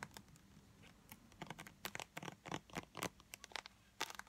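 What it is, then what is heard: Plastic lotion tube tapped and scratched. A small, blue, translucent, squeezable plastic tube of Disney Resorts body lotion, filled with lotion, is held in the hands and tapped and scratched fast with long light-blue acrylic nails. Quick, bright, dry clicks and scratchy crinkles come in an irregular patter over a quiet background with a faint low hum.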